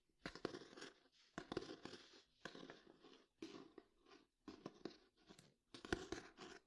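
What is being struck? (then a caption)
Old hardcover book with cloth and paper cover. Fingertips and nails tap and scratch the cloth-and-paper cover and edge of a solid old hardcover book. Quiet, dry, crisp taps mix with scratchy, bright rustling in short bursts separated by brief pauses, with almost no ring after each touch.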